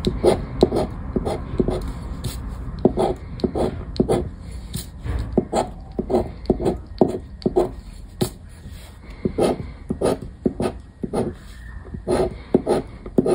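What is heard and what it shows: A thin paper "Aranha da Sorte" lottery scratch card lies flat on a wooden table and is scraped with a black disc-shaped scraper held in the fingers, removing the scratch-off coating. Quick, dry scratching strokes repeat in rapid, uneven bursts, each a short gritty rasp with a bright hiss that dies away almost instantly.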